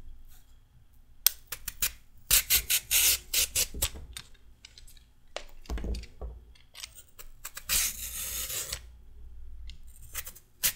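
A solid raw carrot is shaved into wide ribbons with a red metal peeler, each stroke giving a bright, raspy scraping rub. The strokes come in irregular bursts of varying length, some short and crisp, others drawn out, with dry, quickly fading edges and little low end.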